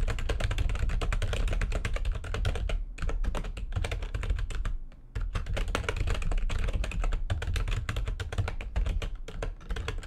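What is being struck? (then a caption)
Plastic computer keyboard. Rapid typing with long nails and fingertips on a full-size plastic backlit computer keyboard produces a dense stream of short, crisp clicks and taps. A steady low hum runs underneath, and the typing briefly pauses near the middle before resuming at the same fast pace.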